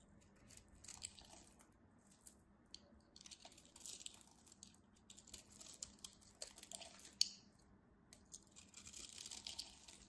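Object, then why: Soap bar carved with a metal knife. A solid cream soap bar is carved along its edge with a metal craft knife, shedding crunchy crumbs. The clip is quiet and crisp, with soft, bright scraping and crackling that comes in uneven bursts. A sharper snap near the middle and a denser stretch of crunching at the end stand out above a faint low hum.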